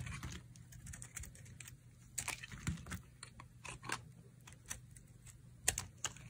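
A solid, dry, pale pink rectangular soap bar is held in the hand and shaved and carved with a utility knife blade. Quick, crisp scraping and crackling cuts come in short, bright bursts over a low, steady hum, and each cut stops almost instantly.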